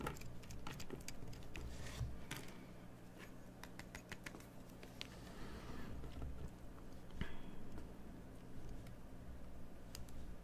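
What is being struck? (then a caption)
Bar of soap scraped with a metal blade. A metal craft knife scrapes around the edges and inside the recess of a partly hollowed cream bar of soap held in hand, with shavings on the table. Quiet, dry scratches and crisp, bright ticks come in uneven bursts over a steady low hum.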